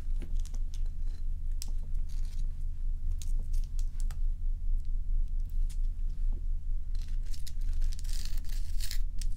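A large solid block of ice is scratched and tapped with long acrylic nails. Sharp, bright clicks and brief scraping strokes repeat irregularly over a steady low hum, with denser scratching toward the end.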